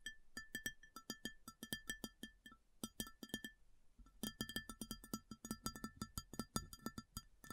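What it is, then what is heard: Ceramic plate tapped with fingernails. Long fingernails of both hands rapidly tap a large, round, empty white ceramic plate, making quick bright clicks with a short, clear ringing tone that fades almost at once. The taps come in fast, uneven bursts, pause briefly just before the midpoint, then resume faster and slightly louder.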